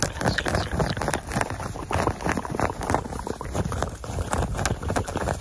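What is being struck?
Cotton terry towel.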